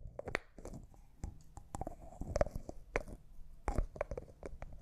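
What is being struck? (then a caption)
Small glass jar with plastic lid. Fingernails tap a small, hollow, clear cosmetic jar that looks like glass and appears empty, striking both the jar and its white plastic lid, and the lid is twisted. The result is a quiet, irregular run of short, dry clicks and ticks with a faint mid-pitched glassy ring, over a soft, low, rumbling scrape as the lid turns.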